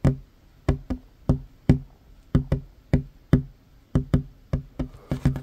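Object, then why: Wooden tabletop. Short fingernails of one hand tap fast on a worn, large, solid wooden tabletop, making sixteen dry, low knocks with a quick decay and an uneven rhythm. Near the end the taps bunch together into a rapid flurry.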